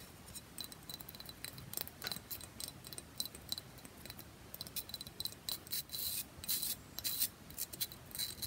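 Long fingernails rapidly tap and scratch the surface and edges of a hand-sized, rectangular, solid pressed bath bomb brick with a segmented grid top, held in one hand. The result is a dense run of dry, crisp, high-pitched clicks and rasping scrapes that grow louder and brighter toward the end, with very little low end and no ring.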